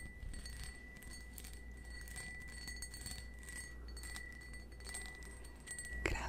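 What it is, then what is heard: Cut crystal wine glass. A small, hollow, empty cut-crystal stemmed wine glass is held in the hand and tapped with fingernails. Quick, light clinks blend into a sustained, bright glassy ring over a steady low rumble, with a louder sharp tap near the end.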